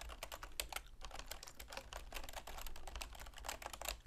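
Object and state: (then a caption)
Plastic computer keyboard being typed on. Long manicured fingernails and fingertips rapidly tap the keys of a full-size black plastic computer keyboard with a silver plastic frame resting on a wooden desk. The result is a dense, continuous stream of short, bright plastic clicks that die away almost instantly, over a steady low hum.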